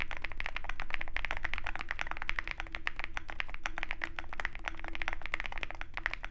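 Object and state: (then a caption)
Mechanical keyboard with PBT keycaps. Continuous fast typing with the fingertips of both hands on a Zoom65 compact 65% mechanical keyboard with a dark case and white PBT keycaps. Quick, irregular keystrokes sound as short, dry clacks centred around 2 kHz, each dying away almost instantly, over a steady low background hum.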